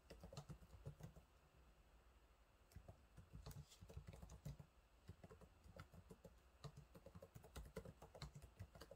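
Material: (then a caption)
Plastic. Fingertips type on the low-profile plastic keys of a silver laptop's keyboard, producing a steady run of quick, soft taps. The clicks are short and dull, with most of their energy low and only a brief bright edge on the sharper strokes.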